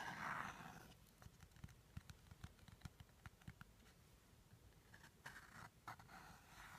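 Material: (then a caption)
Cardboard. Fingertips and short nails tap and scratch the top and sides of a small, rigid teal cardboard jewelry box held close. A soft scratchy rush opens the clip, followed by about seventeen quick, dull taps with short decay, then more scratching near the end.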